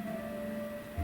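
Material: Nothing is struck.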